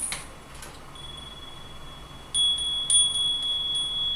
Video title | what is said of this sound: 「ありがとうフィンランド、ただいま日本！」カフェにガチャに雑貨に居酒屋に…東京の好きに溺れる4日間 | C'est un carillon à vent